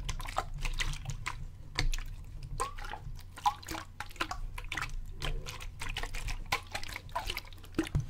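A clear plastic bottle with a gray cap, partly filled with water, is held up, tilted and shaken so the water sloshes inside. The sloshing comes as a rapid run of short, crisp splashy clicks and drips with bright edges, over a steady low hum throughout.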